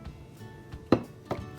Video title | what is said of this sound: Puff Pastry BEEF PATTIES - Simply Elegant | how crispy and flaky that is